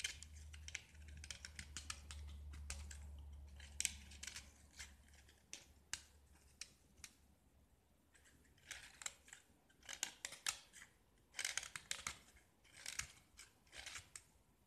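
A metal utility knife blade scrapes a small, solid pink-painted gypsum brick with pink grid remnants. Dry, bright, gritty rasps come in short strokes and bursts with quiet gaps between them. A low steady hum sits under the first few seconds.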